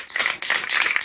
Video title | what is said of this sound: Turning diamond painting spares into a Christmas tree part 3 | I can tell I haven't got much left of this can now. As you can mostly hear the difference as well when I shake it.